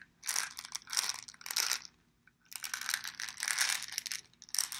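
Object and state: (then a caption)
Plastic pill bottle with pills. A small dark brown plastic vitamin bottle with a yellow plastic cap and a paper label, apparently holding pills, is held in both hands, tapped with the fingertips, turned and shaken. Bursts of bright, dry rattling and clicking come in quick clusters, with a short quiet gap in the middle. Each click dies away almost at once.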